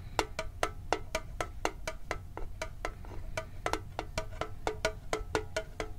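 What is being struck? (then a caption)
Thin sheet-metal tin with lid. A hollow red and blue printed metal Pokemon card tin with a lid is tapped rapidly with fingertips and nails. About two dozen short, quick taps give a hollow, tonal metallic ping around 440 to 700 Hz with bright clicky edges, decaying almost at once over a steady low rumble.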